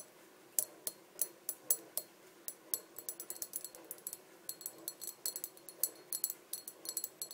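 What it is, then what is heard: Empty glass bottle. Long dark nails tap and click on the body and neck of a small, empty, hollow clear glass bottle. The sound is a quiet series of sharp, bright clicks, spaced apart at first and then quicker and denser. Each tap dies away almost at once, with a faint glassy ring.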